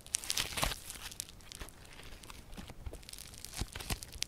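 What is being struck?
Foam-bead slime.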